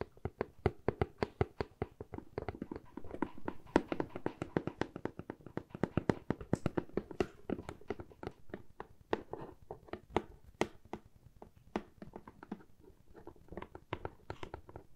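Long fingernails tap rapidly on the sides and top of a medium, hollow corrugated cardboard box with a handle slot. The taps are a steady stream of quick, dry clicks with a soft, hollow low-mid body around 300 Hz. Each tap dies away almost instantly, with little brightness.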